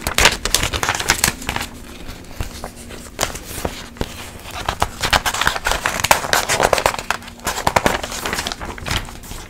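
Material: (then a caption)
Coated paper. An open glossy paper magazine is held in the air while a hand with long nails pinches and flips its pages quickly. Crisp, bright rustles and crinkles come in dense bursts with short gaps, each dying away almost instantly. A faint low hum sits underneath throughout.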